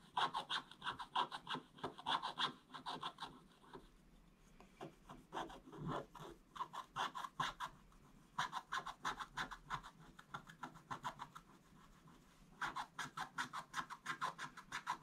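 A wooden stick scratches across a flat, solid, black-coated scratch-art paper board in quick back-and-forth strokes, making a dry, bright, raspy scraping. The strokes come in rapid bursts of roughly three per second, separated by short quiet pauses. The sound is mostly upper-mid and high with very little low end.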